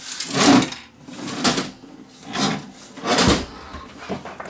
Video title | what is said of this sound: Pioneer PD TM2 18 Disk CD Changer | if we turn it over you'll hear the problem something loose inside